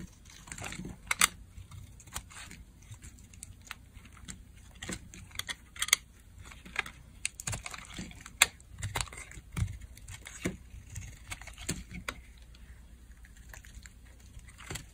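A metal blade shaves chunks off a solid, partly carved orange Dial bar of dry soap, and the flakes fall into a hand. The result is a steady run of crisp, dry scraping and crackling cuts with sharp, bright clicks that stop instantly, over a faint low background.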